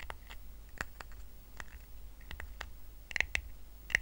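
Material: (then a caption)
Rattan. Fingertips tap and short nails scratch a small, round, flat woven rattan coaster resting on a blanket. Sharp, dry clicks come at an irregular pace, each dying almost instantly, with a bright tick near 1.9 kHz over a faint low hum. Quieter scratchy texture fills the gaps, and the taps grow a little louder toward the end.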